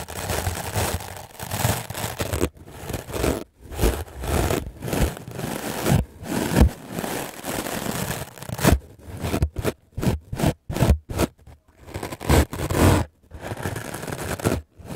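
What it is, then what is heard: Melamine foam sponge being brushed. A hand-held, solid, white rectangular melamine foam sponge is brushed fast and hard with a wooden-backed clothes brush with black bristles. The result is dense, gritty scraping and rustling strokes that come in bursts with short silent gaps, turning choppier toward the end.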